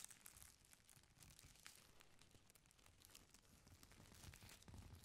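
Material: Paper.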